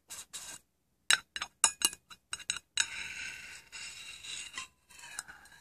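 A small, hollow, plain round metal tin is held tilted in a hand while fingernails tap and scratch along its edge. Sharp, bright clicking taps give way to a sustained high-pitched metallic scraping with faint ringing tones.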